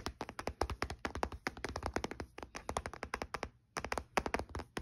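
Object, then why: Small plastic handheld game console. Fingertips with short nails tap rapidly on the lid and edge of a closed, olive-grey plastic Nintendo DS Lite handheld console lying on a dark blue blanket. About forty quick, dry, hollow plastic taps sound with a low thud under each and almost no ring. There are brief pauses, the longest just before the final burst.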